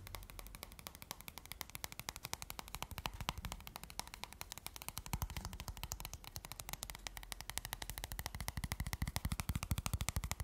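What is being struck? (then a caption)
Paperboard playing card box. Fingertips and short nails tap fast on the thin paperboard box of a small, rectangular, red-backed deck of playing cards, held in the hand close up. A rapid, uneven stream of short, dry clicks with soft low thumps runs throughout, each tap dying away almost instantly. The tapping grows slightly louder and heavier toward the end.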